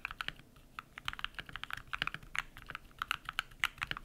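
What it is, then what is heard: Mechanical keyboard with PBT plastic keycaps. Rapid typing with bare fingertips on a compact modded mechanical keyboard with white PBT plastic keycaps and lubed switches. About two dozen short, bright clacks come in quick, uneven bursts, each stopping dead with almost no ring and little low end.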